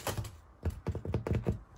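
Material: Bread.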